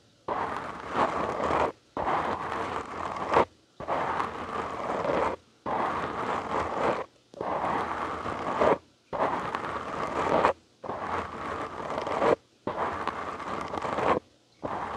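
Fingertips and short nails of both hands scratch a black foam windscreen on a large microphone in nine steady bursts of about one and a half seconds each, separated by brief silences. The scratching is a dense, rough rustle centered in the midrange around 500 Hz to 1 kHz, with a faint bright hiss above.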